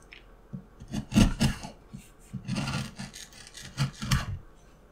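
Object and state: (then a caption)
Wooden block being carved. A steel carving knife cuts and scrapes the patterned surface of a small, solid, light wooden block, and shavings fall onto the mat. Short rasping strokes come in uneven bursts, each with a dull low body and a bright scratchy edge, separated by quiet pauses.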